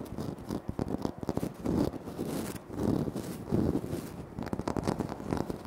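Fingertips and short nails scratch and tap across a large, flat, solid speckled granite-like floor tile. The result is a dense run of crisp, rapid taps and scraping strokes that swell and fade in waves, with a low, dull body and short, dry decay.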